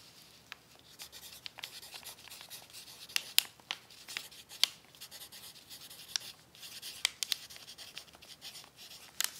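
A pencil tip scratches across a crumpled brown paper sheet resting on a tablecloth while writing cookie recipes. The sound is a quiet, steady, bright scratching and rustling with almost no low end, broken by sharp, short crinkly ticks that die away instantly.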